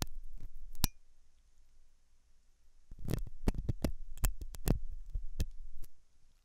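A hooked metal dental tool scratches inside the ear canal of a white translucent silicone ear of soft solid rubber, likely mounted on a binaural ear microphone. A few scrapes and one sharp click come first, then a quieter stretch, followed by a dense run of close, muffled, low-heavy thumps and scratchy clicks. The hits die away almost instantly with no ring.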